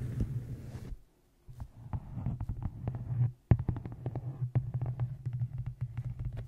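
Fingertips and long nails tap the sides and top edge of a solid, closed, dark-covered hardcover book resting on a microphone. The result is a quick, irregular run of short, dull, deep thuds over a steady low hum, with brief silent gaps. The taps have almost no bright edge.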